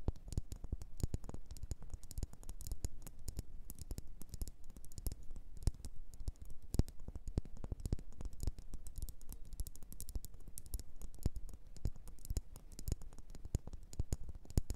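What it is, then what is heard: Ceramic bowl tapped with nails. Long nails tap rapidly and continuously on a small, hollow, glossy blue bowl, probably ceramic, turned upside down. The result is a dense stream of quick, dry clicks with very little ring and mostly low, dull body.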